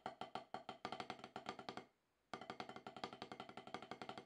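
Two wooden drumsticks tap quickly on a solid octagonal HQ snare practice pad with a dark rubber surface, played after more than ten years away from drumming. About 33 short, dry knocks with a woody, mid-pitched click, in accented rudiment-like patterns. A brief pause near the 2-second mark, then the tapping resumes evenly.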